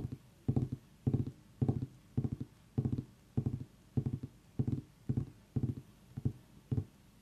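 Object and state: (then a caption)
Pumpkin tapped with fingers. Fingers tap on a pumpkin in a steady rhythm of short bursts, each made of quick taps about every half second. The taps are low, hollow and dry, with a dull thump that dies away almost at once.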